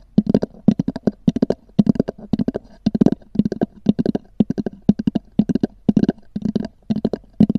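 Long nails tap and scratch on a small black oval hard-shell EVA zip case with a textured cover. Quick clusters of dry, hollow clicks repeat about every half second, each with a low-mid knock around 200 Hz and no ring.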